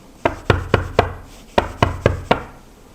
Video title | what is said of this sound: 뭐든 물어보세요, 전부 공개하겠습니다... [쇼핑라이브 다시보기] | 지금 이 식탁 같은 경우에는 양면으로 되어 있어요. 양면을 소리를 들어보시면 둔탁한 소리가 나죠.